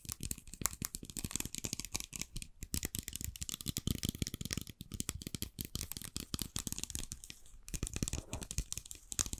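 A small plastic bottle partly filled with blue liquid and topped with a white cap is held in both hands and tapped and scratched with long, dark-painted nails. Rapid, dense taps give sharp, bright clicks over soft low thumps, mixed with crinkly, dry scratching that never stops for long.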